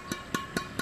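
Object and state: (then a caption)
Badminton racket string bed with titanium-type synthetic string. A Hi-Qua Khatulistiwa badminton racket strung with ISO 66 Titanium string is tapped on its string bed four times, evenly spaced, to compare its sound with the LTJ racket. Each tap gives a short, bright ping centred near 1.1 kHz that dies away in about a tenth of a second, over a faint steady background hiss.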